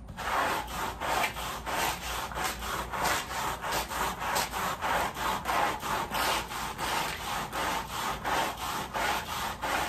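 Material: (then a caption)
Textile. A red-handled white bristle brush scrubs a wet, sudsy woven pile area rug laid on a plastic sheet. It makes a steady run of rhythmic, rasping swishes, back-and-forth strokes repeating about one and a half times per second. Each stroke carries a gritty midrange hiss with some bright edge.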